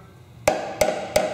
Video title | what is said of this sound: Project CJ5 - Frame Repair (Part 4) | very hollow sounding okay that metal on the inside of the frame rail it's not because it's rotted it's just thinner